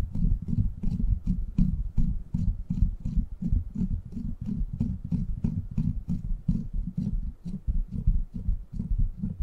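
Fingertips scratch the top of a silver microphone's steel mesh grille, then hands cup and rub its sides. The result is a dense, muffled stream of rapid low thumps and rubbing, almost all deep bass, with faint bright scratchy ticks above and no lingering ring.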